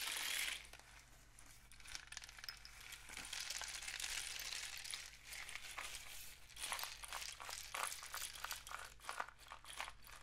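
A long, hollow rain stick, apparently a cardboard tube painted with suns and dots with one end wrapped in mesh, is held in both hands and tilted and shaken so the loose filling inside cascades through it. A bright, hissing trickle rises and falls, breaking later into quick, crisp rattling bursts over a faint steady low hum.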